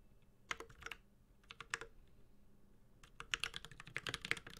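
A Space65 Cybervoyager 65% mechanical keyboard, with a white-gold aluminum case, plastic keycaps, a carbon fiber plate and tactile Holy Panda switches, is typed on steadily with the fingertips of both hands. Short, bright, clicky clacks with a light low thock come in quick bursts, pause briefly, then return in a denser run. Each keystroke dies away almost instantly.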